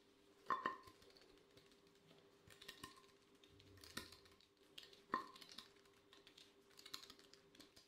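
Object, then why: Glazed ceramic plate. Gloved fingertips tap quickly and irregularly on the surface of an empty, glossy black square ceramic plate held in gloved hands. The taps sound light and clicky, with a short ringing tone near 1 kHz on the strongest hits and bright ticking in between. A faint steady hum sits underneath.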